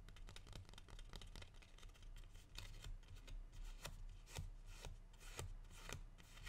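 A single medium matte green plant leaf, held upright in both hands, is rubbed and flicked with fingertips and dark-painted nails. Soft, continuous rustling and scraping is broken by sharp, bright flicks and clicks at an irregular pace.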